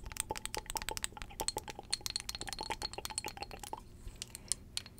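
Long acrylic nails tap fast on a small glass perfume bottle with amber liquid, held in both hands. The taps are sharp, bright clicks with a faint glassy ring, in a rapid, uneven stream with a brief lull near the end.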